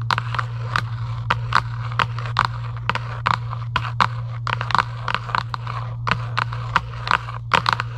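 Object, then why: Cardboard box. A hollow Giant UNO cardboard game box lying flat is scratched with long acrylic nails. The result is a series of sharp, dry scratching bursts with crackly, bright detail over a steady low hum.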